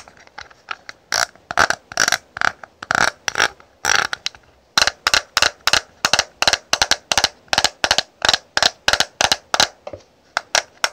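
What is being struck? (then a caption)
Clear plastic makeup compact. Long nails tap and scratch the lid of a small, hollow, rectangular clear plastic highlighter compact with a scalloped edge and powder inside, held in the hand. About 39 sharp, bright plastic clicks with almost no ring come in uneven bursts, pause briefly near the middle, then settle into a quicker, steady rhythm.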